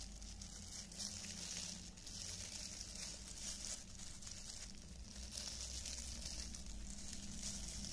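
Thin, clear disposable cellophane film gloves, worn hollow and loose on both hands, crinkle as the fingers flex and rub together. A continuous, bright rustle with fine crackles runs throughout at a steady level, over a constant low hum.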